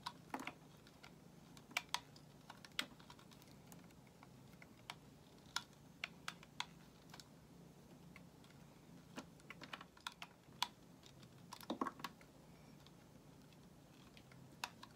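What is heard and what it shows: A solid white bar of soap, held in the hand, is shaved with a metal utility knife blade as flakes fall away. Short, sharp, bright scraping clicks come irregularly at a quiet level, each dying out almost instantly, over a faint low steady hum.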